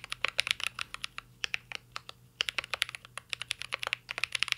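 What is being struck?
Mechanical keyboard with plastic keycaps and aluminium case.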